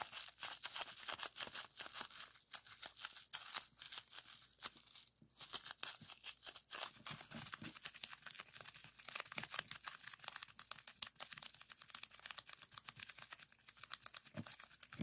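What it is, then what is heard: Plastic bubble wrap. Clear plastic bubble wrap, rolled into a tube, is squeezed and pressed with fingertips to pop its bubbles. A dense, rapid stream of sharp, bright pops and crinkly crackles runs throughout with almost no low end, each snap dying away instantly.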